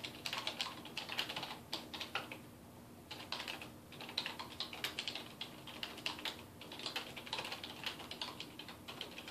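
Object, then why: Plastic computer keyboard. Fingertips type continuously on a dark plastic desktop keyboard resting on a wooden desk, pressing and tapping the keys. Quick, bright clicks come in dense bursts with a brief lull partway through, each keystroke dying away almost instantly over a faint steady low hum.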